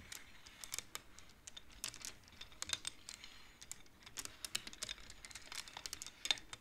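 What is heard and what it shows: Fingertips with long nails tap and push the wooden beads of a wooden abacus. The result is a rapid, irregular run of short, dry, bright clicks and light clacks with almost no ring or low end.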